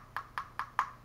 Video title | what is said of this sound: Dragon Touch Vision 2 Pro 4K Action Camera FINAL Review 1 11 20 | just a real thin hollow sounding clicking plastic